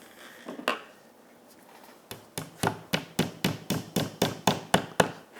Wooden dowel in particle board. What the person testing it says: completamente hacia abajo y se puede escuchar el cambio en el sonido